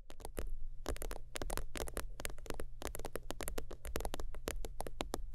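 Long almond acrylic nails tap and scratch across the top of a long, flat, iridescent holographic faux-leather zip wallet that is soft and slightly padded and lies on a fur blanket. Quick, crisp clicks come in a rapid, uneven run over a steady low hum.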